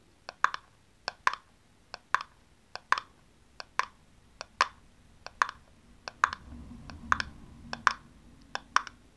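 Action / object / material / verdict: tap / small hollow plastic aerosol cap / plastic / none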